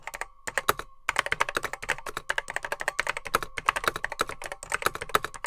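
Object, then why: Plastic computer keyboard with mechanical switches. Both hands type with their fingertips on a vintage beige plastic Apple M0110B keyboard with grey plastic keycaps, its hollow case holding mechanical switches, while a microphone sits untouched in front. A rapid run of dozens of sharp, dry plastic clicks is heard, each with a faint hollow ring around 1.3 kHz and a very short decay. There is a brief pause early on before the typing continues steadily.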